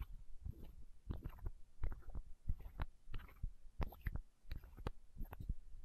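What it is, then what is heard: Plastic eye drop bottle. Long nails tap and scratch a small, hollow, clear plastic eye drop bottle held against the microphone. The result is an irregular run of deep, muffled thumps with short bright clicks and brief scratchy streaks between them.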